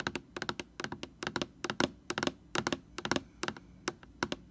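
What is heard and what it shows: Long painted nails tap quickly on the label of a large white plastic Lysol laundry sanitizer bottle, hollow and likely full, heard close up. About 22 short, dry clicking taps come in irregular bursts, with a mid-range hollow knock under bright clicky tops and almost no ring.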